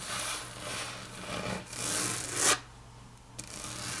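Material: Laminate.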